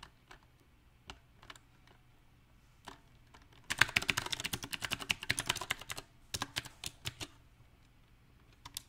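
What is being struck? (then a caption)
Mechanical keyboard with round plastic keycaps. Fingertips tap on a compact backlit mechanical keyboard with round plastic typewriter-style keycaps, with slow, uneven typing. Scattered single key taps give way to a dense burst of rapid, bright clacks in the middle, then trail off into sparse taps again. Each keystroke is short, sharp and clicky, with little low end.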